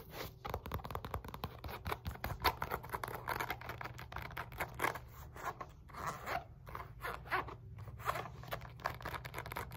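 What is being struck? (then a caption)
Padded synthetic leather focus mitt. Long nails scratch a black padded synthetic leather punch mitt (a focus mitt), working over the stitched rim, the inner hand pocket and the face. The result is quiet, dense, fast scratching and scraping with crackly, zipper-like bursts in the midrange, over a steady low hum.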